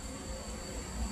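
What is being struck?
Nothing is struck.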